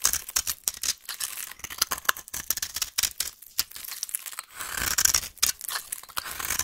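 A metal blade shaves and scrapes the end of a solid beige-yellow rectangular vintage bar soap held in the hand, breaking off crumbly flakes. The sound is a rapid run of dry, bright scraping and crumbling bursts with almost no low end. A few longer rasping strokes sit among the short crisp cuts.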